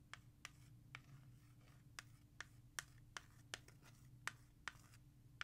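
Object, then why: Plastic CD jewel case. Long nails scratch and tap a Lynyrd Skynyrd CD in a clear plastic jewel case with a dark cover. Thirteen sharp, bright clicks land at uneven intervals over a soft, continuous scratching and a steady low hum.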